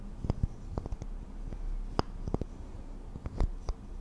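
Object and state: Wax bubble candle tapped with nails.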